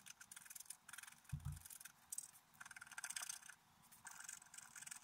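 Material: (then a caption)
Coated paper. A wooden stylus scrapes a flat, black-coated scratch-art card near the deer head in short scratching strokes. The dry, bright, raspy scratches come in quick bursts with brief gaps, and a soft low thump sounds near the middle. The overall level is quiet.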